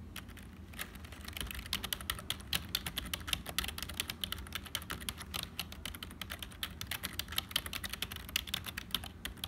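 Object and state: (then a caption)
Plastic computer keyboard. Fingertips of both hands type continuously on a black HP full-size plastic keyboard with a hollow build. A rapid, uneven stream of short, bright, clicky keystrokes dies away almost instantly over a faint low rumble.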